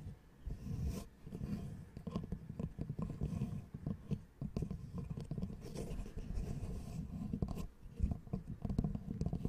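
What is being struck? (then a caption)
Small wooden L-shaped angle piece. A small, light, solid wooden L-shaped angle piece, held in both hands, is tapped and scratched with long nails. Soft, dull taps and rubbing scratches come in a steady, dense stream, with most of the energy low and no bright edge. Each tap dies away almost instantly without ringing.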